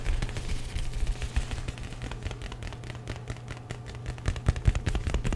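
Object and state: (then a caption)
Leather jacket being handled. Fingertips and nails grip, rub and scratch the lapel of a worn black leather jacket, a soft, flexible material. Dense, crackly scratching and bright rustling ride over a heavy, low thumping rumble from the handling, with quick irregular taps that grow louder toward the end.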